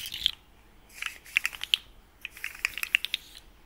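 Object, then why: Plastic articulated slug fidget toy. A small, hollow, rainbow-colored plastic articulated slug fidget toy with ring-shaped segments is held in both hands while its segments are twisted and bent with the fingertips. This produces quick, bright clicking and ratcheting sounds in three short bursts of sharp ticks, separated by near silence.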